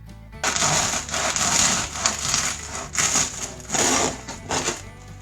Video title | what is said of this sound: Como hacer Pan Casero de modo rápido y Fácil - Crujiente por fuera y tierno por dentro | Hear how crispy the crust is